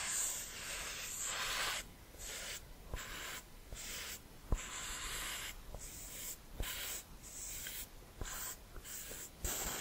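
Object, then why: Cork scraped across a beech wood board. A wine bottle cork, held sideways, is rubbed and scraped slowly across the top surface of a solid beech plank held in the palm. It makes soft, breathy, bright scraping strokes separated by short quiet gaps, with a few faint sharp ticks between them.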